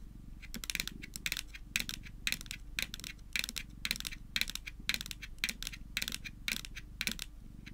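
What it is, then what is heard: Plastic power bank tapped with fingernails. Long nails tap and click on the top of a small, flat, hard-shelled white plastic Hello Kitty power bank lying on a table. Quick bursts of sharp, bright clicking come in repeated clusters, each click dying away almost instantly, over a faint steady low hum.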